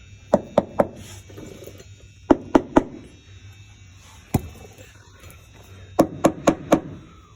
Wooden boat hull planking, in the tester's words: we don't have a dull thud. If we had a dull thud as opposed to this sound, then we would have an issue.